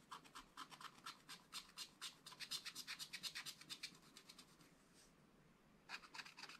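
A wooden stylus scratches a flat, black wax-coated scratch-art paper page in quick, uneven strokes, making dry, bright, papery rasps. The strokes run steadily for about four and a half seconds, fade to near silence, then resume briefly at the end.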